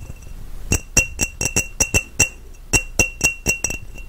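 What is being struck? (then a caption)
Glass mason jar. An empty, clear glass mason jar with its mouth open is held in both hands close to the mic and tapped and scratched with fingertips and nails on its embossed side. About thirteen bright, quick clinks ring out at an irregular pace, each with a short ring near 2.7 kHz, over a faint scratchy hiss between taps.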